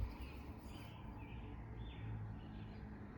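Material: Nothing is struck.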